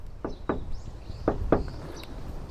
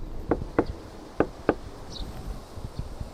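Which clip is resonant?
The first.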